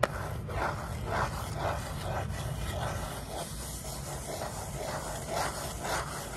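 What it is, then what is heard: Cardboard box scratched. Long nails scratch and tap the face of a small, hollow kraft cardboard box with a sticker label, held in the hands. The result is a soft, steady run of papery rasping strokes, repeating roughly twice a second, with a dull midrange body over a low background rumble.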